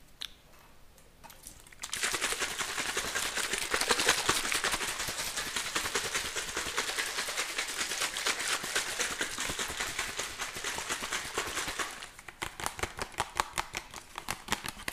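Fingertips and nails tap and squeeze a clear, apparently empty plastic water bottle with a green cap, held close to the microphone. A few faint taps lead into about ten seconds of dense, bright crackling as the thin plastic crinkles. The sound then thins to sharp, separate taps and crinkles at the end.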